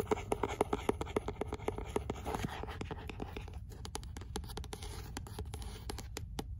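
Fingernails scratch a paperback book with a paper cover, working over the spine, the cover and the deckled page edges. Quick, dry scratches come in a fast, uneven run, with a faint tone near 420 Hz in the first two seconds, then thinner, sparser strokes toward the end.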